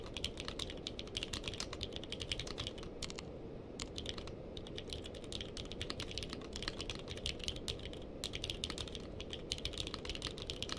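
A compact mechanical keyboard with a purple case and white and purple plastic keycaps, resting on a blanket, is typed on continuously with the fingertips of both hands. Its bright, clicky key presses come in a rapid, uneven stream over a steady low rumble, with only a brief pause near the four-second mark.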